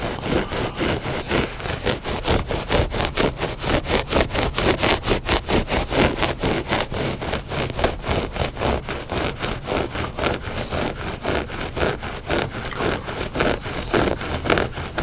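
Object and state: Looped carpet rug being scratched.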